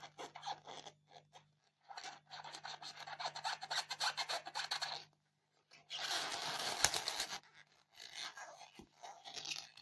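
Long painted fingernails scratch the top surface of a solid white polystyrene foam block resting on a blue towel. Quick, dry, bright rasping strokes come in irregular bursts, building to a denser, louder stretch of scratching before easing back into short scrapes. A faint low hum sits underneath throughout.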